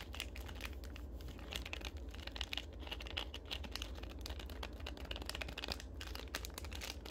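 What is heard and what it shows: A small, full Larabar fruit-and-nut bar in a purple and red plastic film wrapper is tapped, scratched and crinkled with long acrylic nails, held close up. A dense, continuous stream of quick, bright crinkles and sharp clicking taps rides over a steady low hum, with a few louder snaps around the middle.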